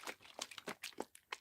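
A plastic bottle of acrylic paint is shaken in a quick series of strokes, giving quiet, bright, crinkly sloshing bursts with almost no low end. The paint is watery and over-thin, having come from the maker with too much liquid in it.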